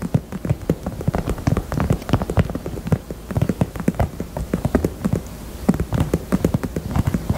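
A pink heart-shaped purse is tapped with the fingers in quick, uneven bursts. The taps are soft, dull and low-pitched, with almost no brightness, and each dies away almost at once, forming a steady patter like light rain.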